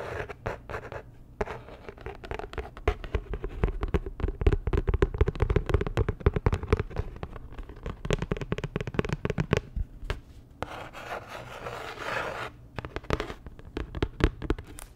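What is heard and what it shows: Fingertips and long nails scratch and rub the surface of a thin, flat, rectangular printed paper card with a blue star design, held in both hands. It makes a rapid, irregular stream of short, dry scratches and clicks with a crackly texture, heaviest in the low end, with brief quieter gaps along the way.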